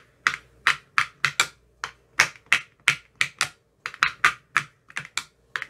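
A metal rod with a white tip taps the rims and bottoms of the green silicone cells in an empty clear plastic ice cube tray. Twenty-one short, bright, clicky taps come in an uneven rhythm, each centred around 2 kHz with almost no low end. Every tap dies away almost at once.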